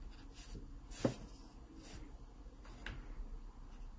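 A wooden graphite pencil, held low and tilted, shades near the base of a pear drawing on an open paper sketchbook page. The pencil scratches the paper in soft, brushy strokes, with one sharper stroke standing out near the start. A low, dull hum sits underneath throughout.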